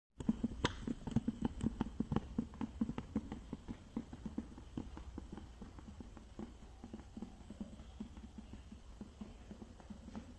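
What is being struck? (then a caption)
Small plastic case with plastic lid. Fingertips and nails tap a small rectangular clear plastic case with a green plastic lid, held in both hands and tilted, with a printed product box inside. A steady run of quick, dry, hollow taps with a low body and almost no ring sounds louder at first, then softer and denser toward the end.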